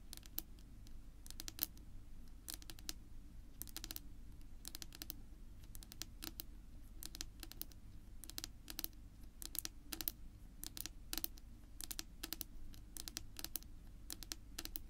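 Long natural pink nail tips tap rapidly on a flat, solid, dark wood-grain tabletop, producing quick, bright, dry clicks with almost no ring. A steady low hum sits underneath the clicks throughout.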